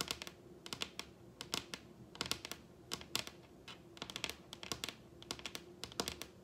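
Long red acrylic nails tap rapidly on the surface of a large, solid wooden dining tabletop. The taps are sharp, bright clicks in quick irregular bursts, each dying away almost instantly over a faint steady low hum.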